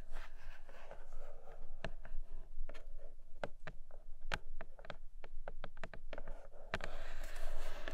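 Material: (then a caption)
Cardboard. Long nails slowly scratch and tap on the surface of a flat grey cardboard Nomad box with a clear plastic window. A soft, steady scratching runs underneath, broken by sharp, bright taps that die away almost at once, with a brighter rasp of scratching near the end.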